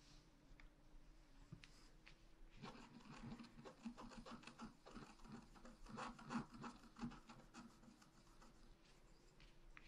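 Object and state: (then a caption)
Scratch art paper being scratched. A wooden stylus scratches small leaf and swirl shapes into a flat, black-coated scratch art paper sheet about A4 in size. After a quiet start, dense, irregular scratchy rubbing strokes begin around the third second and continue, with a few louder scrapes in the middle.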